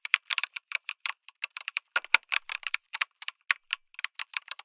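Fingertips type on a lit mechanical keyboard with an aluminum case and plastic keycaps. The result is a fast, uneven run of short, bright clacks with almost no ring and no low end.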